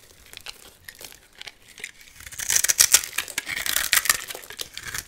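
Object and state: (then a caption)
Bar soap being scraped. A metal blade scrapes and cuts flakes and small cubes off a solid, hand-sized white soap bar with a gold-painted embossed coating, held in one hand. Quiet, scattered crisp ticks build after about two seconds into dense, bright crackling and scraping with very short, dry snaps and almost no low end.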